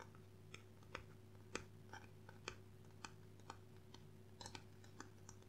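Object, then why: Hardcover book with cardboard cover. Gloved fingertips tap quickly on the cover and spine of a solid dark blue hardcover book with a cardboard cover, held in both hands. About fifteen short, dry, bright clicks come in an uneven, typing-like patter over a quiet, steady low hum.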